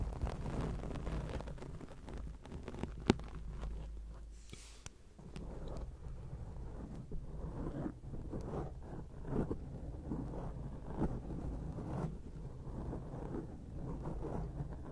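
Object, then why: Foam microphone windscreen. Long acrylic nail tips from both hands scratch across a round grey foam windscreen on a microphone. The result is a dense, low, muffled rustling and rumbling that carries on steadily throughout, with brief crackly bursts and almost no high end.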